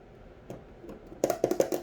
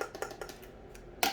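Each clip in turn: First: Six quick, firm taps with a dull mid-pitched knock and almost no ring: a thick, sturdy candle lid. Second: Light, clicky taps on a candle jar lid die almost at once, giving a thin, plasticky sound.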